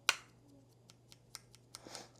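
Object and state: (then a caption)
Metal lens barrel. The metal barrel of a TTArtisan AF 35mm F1.8 II lens for Fujifilm is tapped, giving short, bright metallic clicks. One sharp strong tap is followed by several lighter ticks, each dying away almost at once over a steady low hum.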